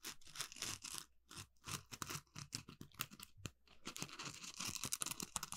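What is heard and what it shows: An orange, palm-sized smiley-face Scrub Daddy sponge made of textured polymer foam, solid with two eye holes and a mouth cutout, is held in both hands and scratched with the fingernails across its rough surface. Quick bursts of dry, bright, crackly scratching come in uneven runs, with brief pauses, and build into denser, continuous scraping toward the end.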